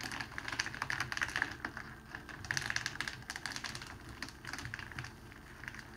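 Fingertips press along a folded strip of clear cellophane wrapping around a rose and pinch the fold, crinkling it. Dense bursts of sharp, dry crackles and snaps come in quick clusters, bright with a strong edge near 1.7 kHz and no ring after each one. A faint low rustle sits underneath between the louder bursts.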